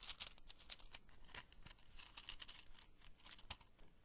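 A small open cardboard matchbox tray full of wooden matches is held in both hands and scratched and tapped along its edges and contents with long fingernails. The result is a quiet, dense run of short, dry, bright scratches and clicks with a papery, crinkly texture.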